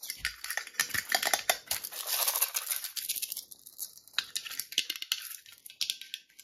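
A small, hollow, rectangular printed metal tin, likely a tea tin, is rapidly tapped and scratched with long red-painted nails. The result is a fast stream of bright, dry clicks and raspy scraping, mostly high-pitched with almost no low end. Each tap dies away almost instantly.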